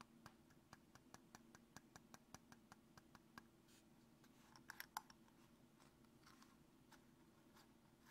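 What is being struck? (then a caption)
Small plastic tube with snap cap. Fingertips repeatedly open and close the snap or screw cap of a small, translucent white plastic tube, hollow and apparently empty, held over a wooden table. A quick, evenly paced run of short, dry clicks gives way to a louder cluster of sharper clicks near the middle. Softer, scratchy clicks follow over a faint steady low hum.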